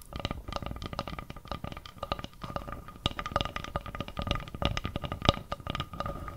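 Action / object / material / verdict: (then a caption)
tap / round flat bamboo board / bamboo / none. Long nails rapidly tap and scratch across the surface of a round, flat, solid bamboo board held beside the mic. The result is a dense, uneven stream of short, dry clicks and scrapes with a low, woody body, over a faint steady hum that runs throughout.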